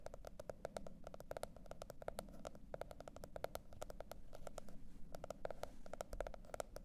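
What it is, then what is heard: Cardboard hardcover notebook tapped with fingernails. A teal spiral-bound notebook with a printed cardboard hardcover lies flat and is tapped and scratched by the long red nails of both hands. Quick, dry taps with a hollow mid-pitched knock arrive in bursts and short rolls, each dying away almost instantly. Faint scratching and a low background rumble fill the gaps.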